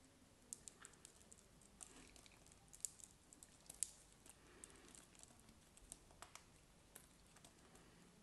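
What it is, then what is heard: Bar soap being carved. A solid block of cream bar soap is held in the hand and carved and scraped with a craft knife blade. The result is a quiet, irregular run of short, dry, bright clicks and scraping ticks with a soft hiss between them, each stopping almost instantly.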